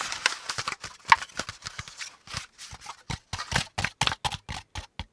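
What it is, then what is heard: Corrugated cardboard insert. Fingertips and nails tap and scratch along the ridges of a hollow, empty brown corrugated cardboard packaging insert with a flat panel and folded zigzag compartments, held up in the air. A rapid run of short, dry, papery taps and scrapes follows, each with a bright crackle and almost no ring. Toward the end the taps become more evenly spaced and louder.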